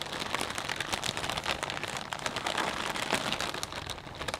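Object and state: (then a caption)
Plastic bag of potato chips being crinkled. Hands squeeze and crinkle a clear plastic bag full of potato chips, making a dense, continuous crackling rustle. The sound is bright and hissy, with little low end and a steady level throughout, broken by many quick, dry crinkles that stop almost as soon as they start.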